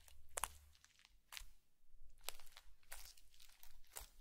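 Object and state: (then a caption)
Foam bead slime. A bamboo fork is poked repeatedly into a blue foam bead slime patch on a white plate, leaving a dimpled surface. Each poke gives a short, bright crunchy crackle of popping beads, with quieter sticky squelches between them over a faint low rumble.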